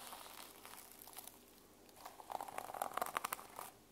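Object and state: Sequin-covered notebook being scratched.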